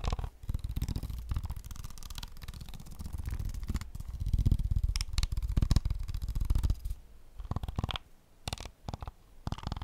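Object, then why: Plastic game controller shell and buttons. A hollow plastic PS5 controller is tapped and scratched on its shell and buttons with fingertips. Fast, dense taps land as dull, low, hollow knocks with bright scratchy clicks, loudest around the middle. They thin out to sparser, quieter taps near the end.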